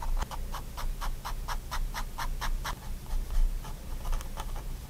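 A fine-tip pigment liner pen makes short strokes and hatching across a spiral-bound white paper sketchbook lying flat on a wooden desk, while the other hand holds the page still. A quick, steady run of soft, dry scratches is heard over a low background rumble, with a brief pause before the strokes pick up again.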